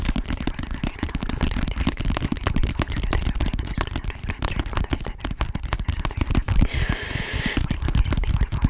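Long painted nails rapidly tap and scratch the cover and edges of an orange softcover paperback book with a barcode, held in both hands close to the microphone. The result is a fast, dense stream of short, dry taps with heavy low-end thumps, and a brighter scratching texture rises briefly near the end.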